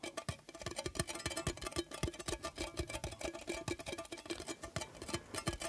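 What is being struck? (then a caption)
Metal tea tin. A Kusmi Tea Kashmir Tchai metal tea tin, with a little tea left inside, is tapped rapidly with the fingertips. The result is a steady run of quick, hollow, dull taps with a low body and a faint tinny ring that dies away almost at once.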